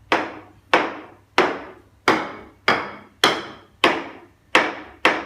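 A floor tile that was not laid to standard is tapped nine times with a wooden stick, each tap giving a short, dull, hollow knock. The dull sound shows a gap with no adhesive between the tile and the concrete beneath, so the tile must be torn out and relaid.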